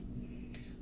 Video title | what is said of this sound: Cinnamon Raisin Walnut Swirl Bread (Vegan) | you'll know when it's done if you tap on it and it sounds pretty Hollow